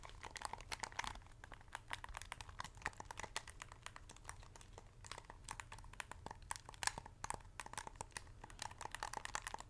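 Long acrylic nails tap, scratch and click the buttons and hollow shell of a white hand-held plastic game controller in PS5 style, held close to the mic. The sound is a quiet, rapid stream of dry, sharp clicks and taps mixed with bright, crinkly scratching, each hit dying away instantly over a faint steady low hum.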